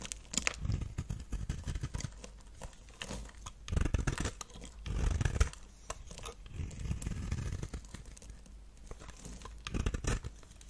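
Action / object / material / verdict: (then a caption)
scrape / bar of soap scraped with a knife blade / soap / none. A solid, palm-sized bar of dry lilac-purple soap, held in one hand, is scraped and shaved into curls with a knife blade. The result is a steady run of crumbly, crackling scrapes, mostly low in tone with short bursts that swell louder around the middle and near the end.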